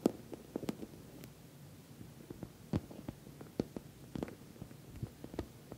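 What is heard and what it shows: Long nails tap the top and sides of a glossy orange, soft-sided, filled patent vinyl cosmetic bag. About twelve short, soft taps land irregularly over a quiet background. Each tap is a muffled low-mid thump that dies away almost at once.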